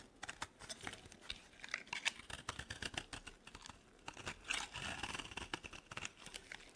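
A metal blade shaves and scrapes thin flakes off a solid, dry green soap bar held in the hand. Quick, crisp, crunchy scrapes sound bright and dry with almost no low end. A longer, denser stretch of scraping rises in the middle before the short strokes return.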